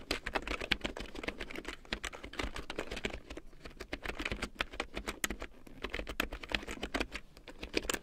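A full-size large print keyboard with a black plastic frame and big yellow plastic keycaps, lying on faux fur, is typed on rapidly with long painted nails and fingertips. Dense, bright plastic clicks and taps run steadily throughout, each one short and dry, over a faint low steady hum.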